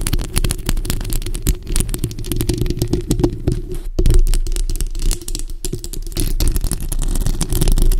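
Both hands scratch the hollow metal mesh grille of a bare black microphone with long acrylic nails. The result is a dense, continuous rasp of quick scraping clicks over a heavy, boomy low rumble, with a brief near-silent break around the midpoint before the scratching resumes.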